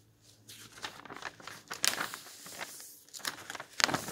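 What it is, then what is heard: Old paper magazine pages being turned. Fingers flip and fold over old yellowed paper magazine pages in a thick bound volume on a table, rubbing them flat with the palm. The result is a dry, bright paper rustle and crinkle, with sharper crackling bursts near the middle and end.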